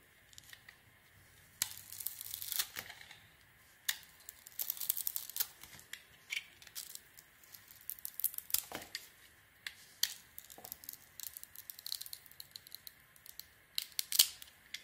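A metal blade scrapes across a solid, dark glitter Fenjal soap bar and cuts off its outer layer. The sound is a quiet run of bright, crisp scraping and shaving bursts, some longer and some short, with almost no low end and quick decays between strokes.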